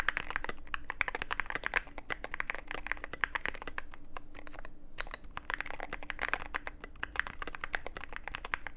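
Fingertips of both hands type continuously on a Cyberboard mechanical keyboard with plastic keycaps and a dark case, producing a dense stream of sharp, clacky keystrokes with a bright edge. The typing eases briefly around the middle before resuming over a steady low background hum.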